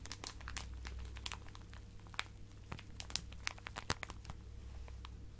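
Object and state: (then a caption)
Plastic zip bag of fabric scraps. A hand-sized clear plastic zip-lock bag full of colourful fabric pieces is squeezed and crinkled by fingertips with long painted nails. Soft, quiet crinkling runs throughout, broken by many short, sharp, bright crackles over a steady low hum.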